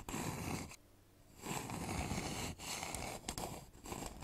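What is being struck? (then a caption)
Wooden bowl. Fingertips and fingernails scratch and tap the outer wall of a polished, hollow wooden bowl with visible grain, held upside down over the microphone. A dense, bright, hollow scratching rasp with a low woody resonance fills the clip, breaking into a brief near-silent pause before resuming with a few sharper taps among the scratches.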